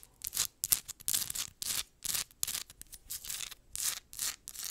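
A palm-sized, solid, rough crystal geode rock with a pale crystal face is scratched fast with long nails. The result is a run of quick, dry, bright scraping bursts with almost no low end, separated by short silences.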